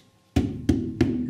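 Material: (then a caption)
Cotton canvas. Three taps on a stretched 8F cotton painting canvas give hollow, drum-like thumps, each with a low body around 270 Hz and a short ring. The drum-like sound shows the canvas is taut and well stretched on its frame.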